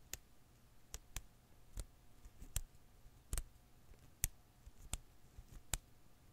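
A blue and green Koosh ball of thin rubber filaments rests in one palm while the other hand's fingertips and nails pinch and pluck its strands. The result is nine quiet, sharp, bright clicks at an irregular pace, each dying away almost instantly. A faint low hum sits underneath.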